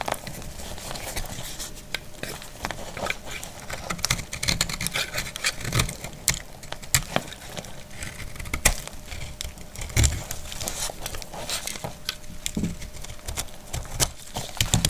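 A metal utility blade cuts through a solid, dry white soap bar and its residues. The cutting makes a steady run of short, crisp cracks and scrapes with bright crackle on top and dull low thuds underneath. Each sound stops almost at once with no ring.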